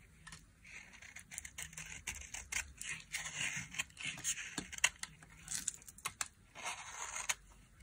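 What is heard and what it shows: A solid, dry white soap bar lying in an open palm is scraped along its face with a flat metal blade. The result is a string of quiet, bright, dry scraping and rasping strokes with crisp shaving crackles, each stroke stopping short with almost no ring.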